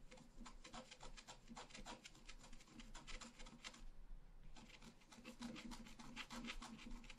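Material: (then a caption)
Coated paper. A pointed wooden stylus scratches a flat, black-coated scratch-art paper card lying on a table. Dense, short, rasping scratch strokes come in quick succession, with a brief pause just before the four-second mark before the scratching resumes.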